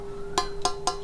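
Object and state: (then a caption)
Flicked steel knife blade with plastic handle, sheet-metal ring. A steel Tramontina knife blade with a plastic, non-wooden handle is flicked three times, each flick giving a short, bright metallic ring near 1 kHz over a steady low tone. The ring sounds flat and tinny like a zinc sheet, unlike the wooden-handled knife, and the blade is judged not soft.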